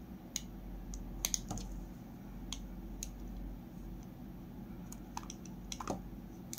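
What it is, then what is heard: Bar soap being carved. A metal utility blade carves thin curls from the edge of a solid peach Palmolive bar soap held in the hand, using a repeated scraping motion. Short, crisp, bright clicks and scrapes sound at irregular intervals over a steady low hum. Each cut stops quickly, with almost no ring.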